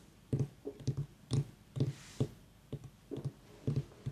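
A small, whole, white ribbed mini pumpkin with a long dry stem, a hollow gourd, is held and tapped and clicked with long fingernails. It gives short, dull, low hollow knocks, often in quick pairs, with soft bright clicks at irregular intervals. A faint misting hiss from a nearby aroma diffuser sits underneath.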